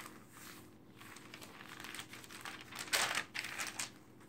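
Hands with long dark nails quickly turn the pages of an open glossy paper magazine lying flat on a table, rubbing each page flat with the palm and fingertips. Soft, bright rustling and crinkling build gradually into sharper page flips. The loudest crisp swipe comes near the three-second mark before the sound settles back to quieter rustles.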